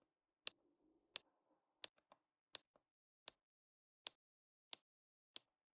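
A pink plastic drill pen with a metal tip is pressed down repeatedly, tapping small dark resin rhinestone drills onto a flat adhesive diamond painting canvas. Eight quiet, sharp, bright clicks come at a steady pace, with a faint soft rustle between the first few taps and a couple of tiny extra ticks.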